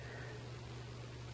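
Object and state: Nothing is struck.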